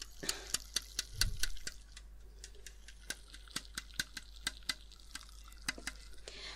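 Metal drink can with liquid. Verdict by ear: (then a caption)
Full. A full metal can of pear cider is handled and tapped, giving a quick, uneven series of sharp, bright clicks and ticks. Each tap dies away almost at once over a soft, steady background hum, with a brief low thump early on.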